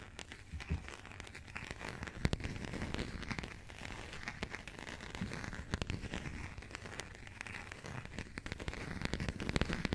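Long nails scratch and tap the coated cardboard cover of a small burgundy passport, with some handling of its pages. The result is a quiet, continuous run of crinkly scratching and dry, sharp taps that die away instantly, weighted toward the low end with a faint bright edge.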